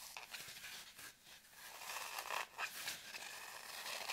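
Long nails scratch the surface of a solid, deeply grooved green floral foam brick held in both hands, with crumbs on the table. The result is a dry, bright, crackly scraping with almost no low end, coming in quick, uneven strokes that swell and fade.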